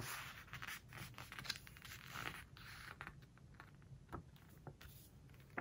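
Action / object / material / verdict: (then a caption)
scrape / hardcover book with glossy paper pages / glossy paper / none. Fingertips and long nails rub and scratch across the glossy paper pages of a large open home-decor hardcover book lying flat on a floral cloth, then turn the pages. The sound is a quiet, dry, bright scratching and swishing, with short crisp ticks from the nails and papery flicks as pages turn.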